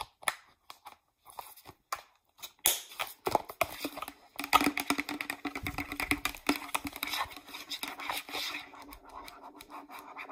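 Long nails tap and scratch across the label of a hollow green plastic Pert shampoo bottle held in hand. Sparse, dry clicks at first give way after a few seconds to a dense, continuous, bright scratching with quick taps mixed in. The scratching runs to the end with a faint low hollow resonance underneath.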